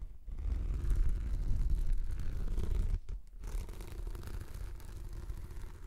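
Long nails scratch across a rolled, translucent, textured plastic anti-slip mat formed into a hollow tube. The result is a steady, dull, rasping scrape, heavy in the low end, with a brief break around the three-second mark before the scratching resumes more softly.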